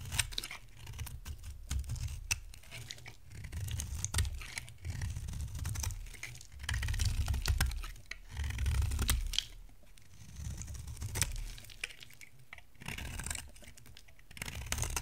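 A solid white rectangular bar of dry soap is carved by scraping it with a metal box-cutter blade, and the flakes pile up beside it. Rapid, irregular dry scratching and crisp bright shaves sit over a heavy low rumble. The sound swells louder in stretches and then eases back.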